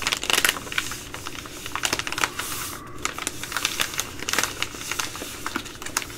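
Long glittery nails scratch and tap a Ready Rice plastic laminate pouch, making a rapid run of bright, clicky taps mixed with scratchy crinkling. Each tap is sharp and dies away almost at once, and the brief noisy bursts resemble fast typing on a keyboard.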